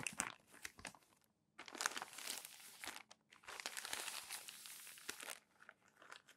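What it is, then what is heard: Crumpled glossy magazine pages. Palms rub and smooth crumpled glossy magazine pages flat on a stack, then turn them. The result is bright, crinkly rustling with sharp crackles in dense bursts, separated by brief quiet gaps, with almost no low end.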